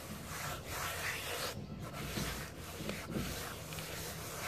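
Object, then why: Cement powder. Both bare hands rub and sweep with palms and fingers across a flat, solid mound of dry grey cement powder, crumbled from cement hearts and lying in a tray, scraping and smoothing the surface. A steady, gritty, broadband rubbing hiss runs the whole clip, with brief dips between strokes and no distinct hits.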